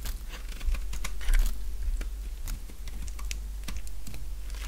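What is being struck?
Bar of soap scraped with a knife blade.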